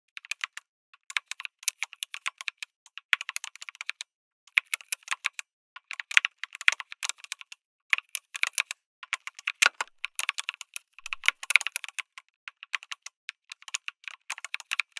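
Fingertips type on a lit mechanical keyboard with an aluminum case and plastic keycaps. Quick, bright clacks come in rapid bursts separated by short pauses, each keystroke sharp and dry with almost no low end or ring.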